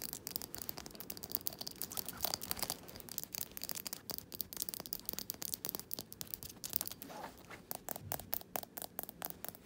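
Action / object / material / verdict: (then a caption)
scrape / small glass jar candle filled with wax / glass / none. Fingernails scratch and rub the labelled bottom and the glass neck of a small glass jar candle filled with wax. The result is a quiet, continuous stream of dense, bright, crackly scratching with many quick, sharp clicks throughout.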